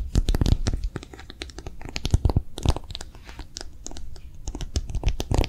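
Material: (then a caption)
Silicone. A hollow, empty pink soft silicone phone case with a bumpy character pattern, held in both hands, is tapped and scratched fast with long manicured nails. Dense, rapid, dull clicks and scratchy rubs come in quick bursts, mostly low and thumpy with little bright content, each tap dying almost at once.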